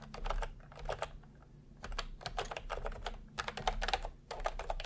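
A plastic retro keyboard with round cream and peach keycaps is typed on continuously with the fingertips of both hands. Quick bursts of bright, clicky keystrokes come in clusters with short pauses between them, over a low background hum.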